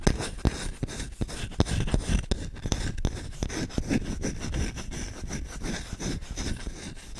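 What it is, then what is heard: Wooden spoon being scratched. Short-nailed fingertips scratch fast and hard across the bowl of a solid wooden spoon with visible rings. The result is a steady stream of dry, rasping strokes at an uneven pace, roughly two to three per second. Each stroke has a heavy low body and a short, bright click that stops almost immediately.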